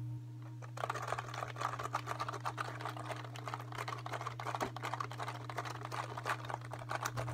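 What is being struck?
Plastic computer keyboard.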